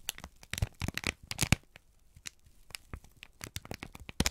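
A folded, crinkled sheet of brown kraft paper is held in both hands and squeezed and crumpled with the fingertips. It makes a quick string of sharp, dry crackles and crinkles, each cut off short, with bright high hiss over a soft low thump. Quieter rustling fills the gaps between the louder bursts.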